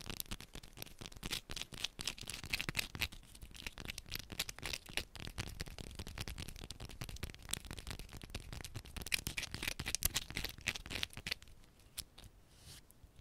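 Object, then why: Bar of soap. A small solid yellow bar of soap held in both hands is scratched and tapped fast with long pointed nails. Dense, rapid crisp clicks and scrapes run throughout, mostly bright and high-pitched, and ease off into quieter scratching near the end.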